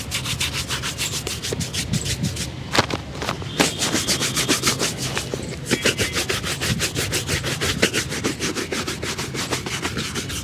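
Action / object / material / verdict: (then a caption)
scrape / leather dress shoe / leather / none. A single black leather dress shoe, hollow and empty, is held in the hand and scrubbed with a small wooden-handled brush in brushing and rubbing strokes across the upper and the sole. Quick, slightly uneven bristle strokes come about three per second, each a bright, scratchy swish with a soft hollow body underneath, running steadily throughout.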